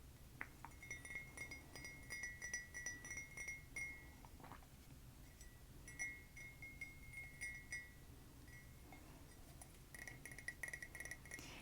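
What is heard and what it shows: A ceramic art history mug from a museum gift shop is tapped repeatedly, giving light, bright clinks with a clear ringing tone near 2 kHz over a soft low background. The taps come in irregular clusters across the clip and die away quickly after each strike.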